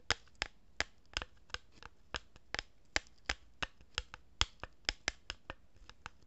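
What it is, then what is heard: Cardboard tube. Fingers with long nails rub and scratch the surface of a hollow cardboard tube held horizontally in both hands. About 20 short, dry, bright scratching clicks sound at an uneven pace, each fading almost instantly over a faint low hum.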